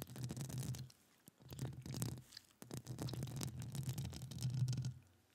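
Long acrylic nails scratch and tap the hollow metal mesh grille of a studio microphone, while the other hand is gloved. Bursts of rough, rasping scratching carry a strong low boomy hum around 125 Hz with faint bright crackle on top, separated by short silent pauses.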